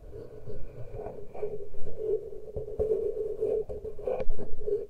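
Fingertips and long nails gently scratch and touch the exposed metal microphone capsules of a handheld Tascam recorder with no cover on. The result is a close, rustling scratch over a steady midrange hum, broken by soft, dull thumps and brief low rumbles as the capsules are touched.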